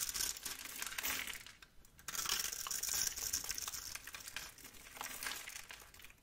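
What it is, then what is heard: Bar of soap being scraped. A metal blade scrapes and cuts cubes and flakes from the face of a solid, palm-sized lavender bar of soap held in one hand. It makes a dense, bright crackling and crunching scrape, with a brief quiet pause just before the two-second mark before the scraping resumes and slowly fades.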